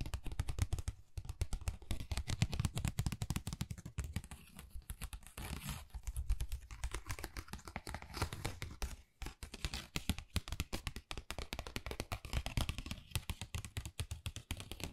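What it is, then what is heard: Textured cardboard folder tapped with nails. Long nails tap rapidly across a flat, pale pink, pebble-textured Dior cardboard folder that is thin and hollow. The result is a dense, steady flurry of dry, quick clicks with a low, hollow thump beneath them. A faint scratchy rustle runs between the taps, and each one dies away almost instantly.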